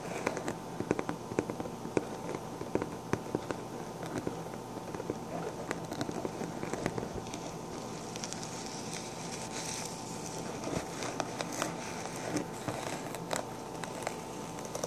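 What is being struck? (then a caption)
Fabric fedora hat covered in plastic sequins. Short dark-painted fingernails scratch and tap the hollow crown of a pink fabric fedora-style hat covered in round plastic sequins, held up in the air. A steady, dense crackling rustle is punctuated by many quick, sharp clicking ticks that stop almost instantly.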